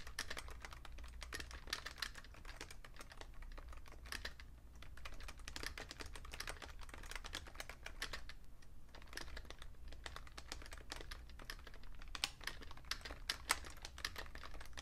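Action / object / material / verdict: tap / plastic computer keyboard / plastic / none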